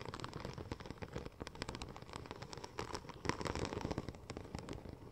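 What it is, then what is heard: Vinyl wrap sheet scratched and tapped. Long nails scratch and tap across the embossed tread of a curved, silver, checker-plate-pattern vinyl wrap sheet. The result is a dense, continuous run of quick, dry clicks and scratchy crackles with no ring. The sound is mostly low and mid, with some bright edges.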